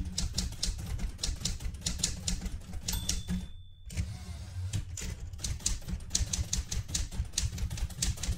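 Fingertips with red-painted nails type continuously on the round keys of a light blue vintage portable manual typewriter with a metal body and paper loaded. Quick, bright mechanical clacks come in steady runs over a constant low hum, broken once midway by a brief pause carrying a thin sustained tone before the typing picks back up.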